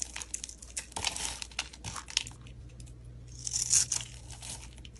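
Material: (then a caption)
Soap. A utility knife blade scrapes across a solid black soap bar held in the hand, shaving off brittle flakes and cubes. It makes a run of quick, dry, bright crunching and crinkling scrapes, with a louder, sustained hiss of scraping near the end.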